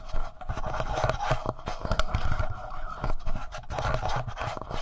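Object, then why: Plastic handheld audio recorder. Fingertips and nails scratch and tap the front panel and side of a black plastic Tascam handheld audio recorder. The result is a dense, continuous run of dull, low thumps with rough scratching over a steady midrange hum, and the taps die away almost instantly.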